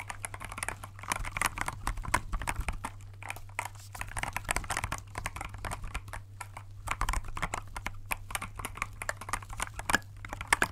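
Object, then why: Clear plastic mechanical keyboard. Gloved fingertips press and tap the clear keycaps of a compact, transparent plastic mechanical keyboard held in both hands. The result is a rapid, uneven run of crisp, short clicks and clacks with bright highs, over a steady low hum.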